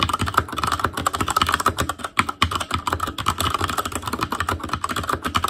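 An Asus Claymore Core mechanical keyboard with plastic keycaps is typed on with the fingertips of both hands. The result is a fast, steady stream of sharp, short clacks with a mid-pitched click tone and a low thump beneath, with keystrokes overlapping closely throughout.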